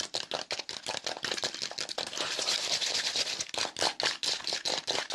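A small, light piece of folded, layered brown corrugated cardboard with a hollow fluted structure is held in both hands and quickly scratched and crinkled with fingertips and nails. The result is a fast, irregular run of bright, dry scratches and crackles with almost no low end, and each burst cuts off quickly.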